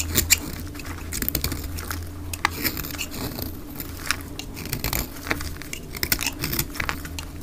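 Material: Soap.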